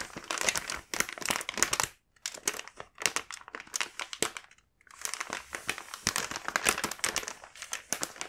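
A full plastic snack bag of kinako mochi is held and handled, producing bright, dense crinkling across the whole clip. Bursts of crackling rustle come in clusters, with brief quiet pauses near the two-second mark and just before five seconds.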